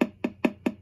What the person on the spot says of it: you can hear how loud it is it acts like a lot like the old needles on the diaphragm pickups